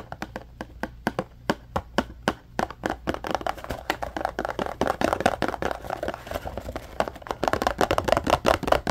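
Short fingernails and fingertips tap and scratch a small, hollow yellow cardboard retail package (a Scrub Daddy sponge box) held in both hands. Sharp, dry taps start out spaced apart and then speed up into dense, rapid tapping mixed with scratchy rustling. The hollow box gives each tap a brief midrange knock with almost no ring.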